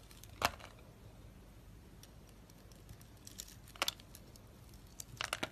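A utility knife blade scrapes and carves wavy ribbons off the surface of a solid, green, embossed, palm-sized dry soap bar held in the hand. Short, crisp, bright scraping crackles break a quiet background, and the crunchy cuts cluster more densely near the end.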